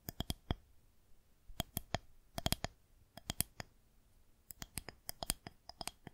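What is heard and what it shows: Long nails tap the top surface of a solid white plastic rolling pin held horizontally. Quick, dry clicks come in irregular clusters separated by short pauses, each tap bright and crisp with almost no ring, over a faint low background hum.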